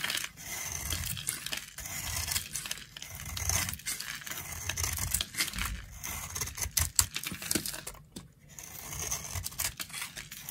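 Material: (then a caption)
Soap. A flat metal blade scrapes and carves powdery layers off the exposed pink face of a solid, palm-sized round bar of dry pink soap with a yellow patterned coating, held in one hand. Dry, bright, crumbly scraping and crinkly crunching come in a rapid run of short strokes with brief pauses and a low, soft rumble underneath.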